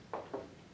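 A ceramic shaker with small clay balls trapped inside, fired in a kiln, is shaken twice. Two soft, short rattles in the mid range fade quickly into quiet background.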